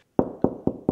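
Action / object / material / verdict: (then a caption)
tap / plasterboard dot-and-dab wall / plasterboard / hollow. Four taps on a dot-and-dab plasterboard wall at a hollow spot, recorded with the microphone held close. Each tap gives a dull, hollow knock with a mid-low tone around 260 Hz and a short decay. The spot sounds hollow because there is a void behind the plasterboard.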